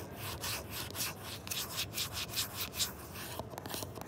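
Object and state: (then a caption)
Glass-backed smartphone, rubbed and tapped. Fingertips rub, scratch and tap on the matte glass back of a gold iPhone 11 Pro, just below its triple-lens camera bump; the small, solid phone is also the recording device. Quick, uneven strokes produce bright, hissy scraping bursts at a fast pace, with soft short taps mixed in that fade almost at once.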